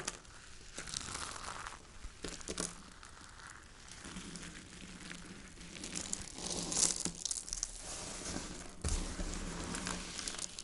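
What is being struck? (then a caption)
Dried soap shavings and powder. A pile of dry white soap shavings and powder on a wooden board is crumbled and rubbed between fingertips and palms. This produces a dense, continuous crinkling and crunching, with bright, tearing-like bursts and a faint low hum underneath.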